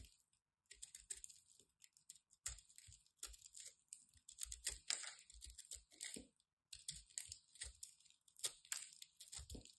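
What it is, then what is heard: Dry, crumbly soap ball. A small metal blade cuts and crunches into a solid, crumbly ball of dry white soap held between the fingers. Quiet, bright, crisp crackles and scraping crunches come in rapid, uneven bursts with brief low thumps and short pauses. Each crunch dies away almost at once.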